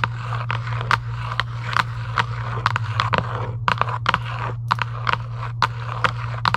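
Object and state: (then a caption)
Cardboard game box. Long acrylic nails scratch and tap quickly on a hollow Giant UNO cardboard game box lying flat. Sharp, dry clicks land in a busy, irregular rhythm over a steady low hum and a papery scratching texture.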